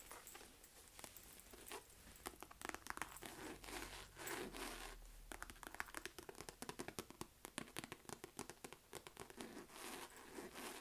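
Long nails tap and scratch the stitched front of a small, hollow, mustard yellow chevron-quilted faux leather flap wallet bag with a chain strap hanging from it. A steady run of short, dry, sharp taps mixes with crinkly, scraping scratches, giving a bright, close texture with little low end.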